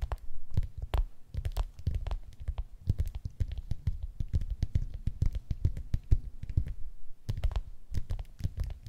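Long acrylic nails tap and scratch the textured peel of a whole, unpeeled tangerine resting on a wooden surface. The result is a dense, rapid stream of soft, low, dull taps, each with a brief bright click on top and a faint scratchy rustle between them.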